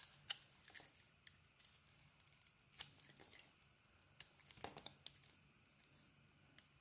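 A metal utility blade carves a solid red bar of soap with a white core, held in the hand. Quiet, bright scraping and crinkly tearing rasps come in irregular bursts, with sharp little clicks as slivers break away and almost no low end.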